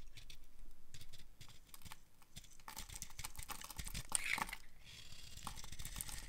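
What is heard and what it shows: A utility knife blade shaves thin slices from the edge of a solid, dry, pale green bar of soap. Quick, irregular, crisp scraping crackles and soft crunches repeat quietly, growing denser and brighter through a louder middle stretch before settling into fine, dry rustling.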